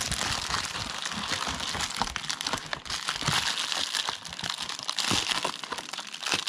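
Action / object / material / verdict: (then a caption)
scrape / plastic padded mailer bag / plastic film / none. Yellow rubber-gloved fingers peel and tear open the flap of an Amazon Prime plastic padded mailer bag, crinkling the film. A dense, continuous run of bright crinkles, crackles and short tearing snaps is heard, with little low end.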